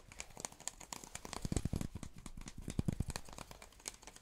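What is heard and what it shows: A hard cardboard tube is tapped rapidly and irregularly, giving short, dry, hollow low thuds with very little ring. Faint bright crinkly ticks sit over the taps, and the tapping grows louder and denser in the middle before easing off.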